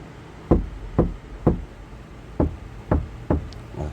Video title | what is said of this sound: 카오디오 튜닝. 재료 고유 주파수 특징, 스피커 인클로저 튜닝, 스포티지 nq5 패리 카오디오 작업 2-5 Car audio tuning Material Frequency | 이 본드가 어, 다 접착이 되면 어, 마르면 소리가 달라집니다.